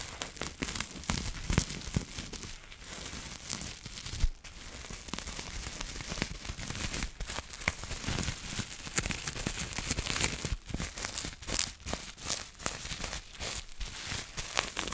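A small wad of clear plastic bubble wrap is held close and scratched and crinkled with long nails. The result is a dense, continuous crackling and crinkling with many quick, sharp scratches spread across a broad, bright range, plus some low rumble from handling.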